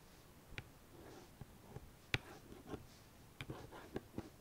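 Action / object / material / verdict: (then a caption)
tap / cardboard palette sleeve / cardboard / none. Long painted nails tap and scratch across the top of a white cardboard makeup palette sleeve with a red star, resting on a fleece blanket. Quiet, sharp, dry clicks with short scratchy brushes between them, each stopping almost at once against a soft hush.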